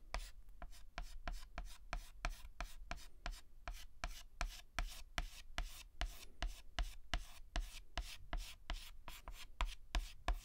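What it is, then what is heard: Chalk on a chalkboard. A white chalk stick makes fast, short hatching strokes and rubs on a flat black chalkboard while filling in a letter. The result is a quick, uneven series of about 29 dry, scratchy ticks, roughly three per second, each with a bright, gritty edge and almost no ring. A soft, low rubbing continues between the strokes.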